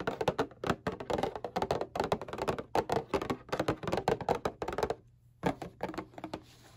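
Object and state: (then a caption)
Cardboard tissue box tapped. A flat, rectangular, hollow printed cardboard Kleenex tissue box, turned bottom side up, is tapped with a fingernail and fingertip. Quick, dry, hollow taps with a mid-pitched body come in rapid uneven bursts, each dying away almost at once, with a brief pause near the end before a last few softer taps.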